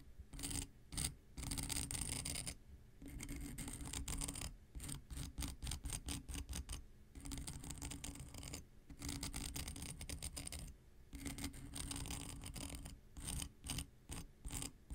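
An X-Acto knife blade is scratched along the gritty abrasive surface of a long, flat, dark grey emery nail file held in one hand. The result is rapid, rhythmic scraping strokes in dense bursts, with a bright, gritty hiss over a low rumble. Short pauses separate the runs of strokes.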